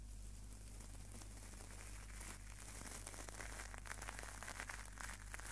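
A small hollow-mesh stainless steel wire scouring pad is squeezed and crumpled between the fingertips close to the microphone. Quiet, irregular metallic crinkling and crackling flickers bright across the clip, over a steady low hum.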